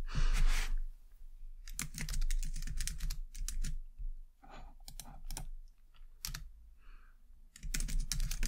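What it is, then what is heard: Plastic computer keyboard being typed on. Both hands type steadily with long dark-painted nails and fingertips on a white low-profile plastic computer keyboard. Quick, uneven bursts of bright clicky key taps come in clusters with short pauses between them. A soft breathy whoosh opens the clip, and a low hum runs underneath throughout.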